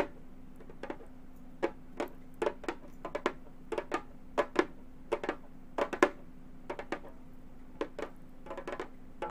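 Gold metal claw tips tap the synthetic head of a hollow frame drum in an irregular run of quick, separate taps. Each tap is a short, dry, bright click with almost no ring, over a faint, steady low hum.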